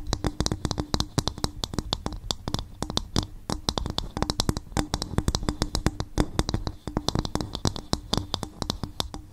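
A coconut shell bowl is gently tapped with the fingers on the microphone. Dozens of rapid, light, dry taps each carry a soft low thump and a bright click, and they die away almost at once.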